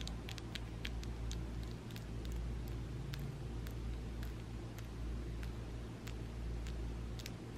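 Long coffin-shaped acrylic nails are tapped together, nail against nail, with both hands interlocked above a table. Small, sharp, bright plastic clicks come at an irregular pace over a steady low hum.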